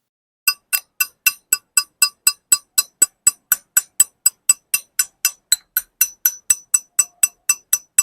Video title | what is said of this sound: Speedone Sniper Hub Bakit nga ba napaka ingay - #patscyclecorner | medyo high pitch yung tunog ng hub, di ba?